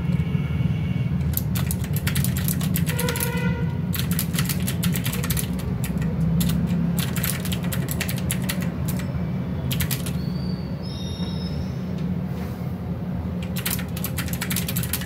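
Both hands type with their fingertips on a full-size mechanical keyboard with plastic keycaps resting on a desk mat. Quick, irregular, bright key clicks come in bursts and pauses over a steady low rumble that dominates the clip.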